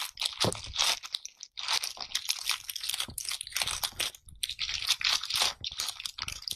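A round bath brush with dense tufts of pale natural bristles is held by hand and scratched and rubbed against a clear pane, its bristle tips pressing and flicking across the surface. The result is a dense, bright, crunchy scratching that comes in bursts of rapid bristle crackle with brief pauses, almost no low end, and very short decays.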